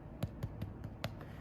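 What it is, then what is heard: Well-baked bread roll (hollow). A golden-brown baked bread roll is turned over on a pan stand and tapped on its underside, giving a series of short, dull, hollow knocks low in pitch that stop almost at once. The hollow sound shows the roll is well baked.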